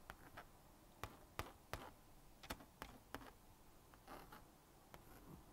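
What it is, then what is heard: Plastic magnetic drawing board. A plastic magnetic stylus scratches lines across the honeycomb screen of a small blue-and-pink plastic magnetic drawing board. It makes quiet, dry scraping strokes with several sharper ticking taps at irregular intervals. Each tap ends almost at once.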